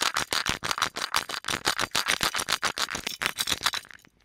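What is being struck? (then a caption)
Small hollow metal lamp. An ornate, palm-sized, gold-colored hollow metal genie lamp with a lid and a chain is held in the hands and tapped and scratched with fingertips and nails. About 25 quick, bright, rattling clicks come in a steady run with almost no low end, each dying away at once. The run stops just before the end, leaving near silence.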